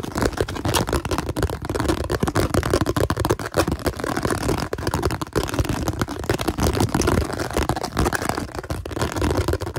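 A round, hollow, translucent blue plastic container held in both hands is rapidly tapped and scratched with fingertips and nails. The result is a dense, continuous stream of quick, dry clicks and scrapes with a hollow, low-weighted body and almost no ring after each hit.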